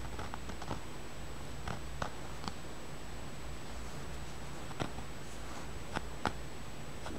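Fingernails tap and scratch the surface of a small, solid, polished, dark grey-green rounded tumbled stone held close up. Several short, sharp clicks rise over faint scratching and a steady low hum, each dying away quickly.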